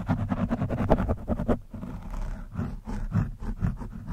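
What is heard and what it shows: A metal screwdriver scratches and pokes at an orange foam windscreen on a microphone. Dense, rapid muffled scraping for the first second and a half gives way to slower, irregular rubbing and pokes, all heavy in low rumble with little high-end.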